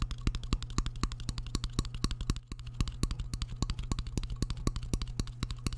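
Fingertips tap rapidly on the front face of a shallow, empty white square ceramic plate held close to the microphone, with a metal fork resting behind it. The result is a fast, uneven stream of short, bright clicks over a steady low hum, with a brief pause partway through.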